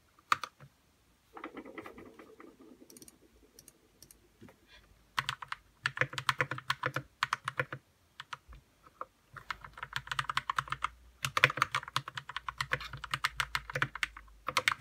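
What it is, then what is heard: Plastic mechanical keyboard being typed on. Fingertips type on a white 60% RK61 mechanical keyboard with plastic keycaps and lubed red switches. Bursts of quick, short keystrokes clack brightly around 2 kHz, with a softer, muffled stretch near the start and brief pauses between the bursts.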